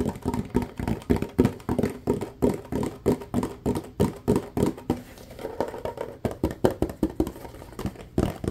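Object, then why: Ribbed plastic bottle. A clear, ribbed, mostly empty plastic bottle is held sideways and tapped and scratched with fingertips and nails. Fast, irregular taps land in quick bursts, each a short, dull, hollow knock with a low-mid body that dies away almost at once. Softer scratching fills a quieter stretch in the middle before the tapping picks up again.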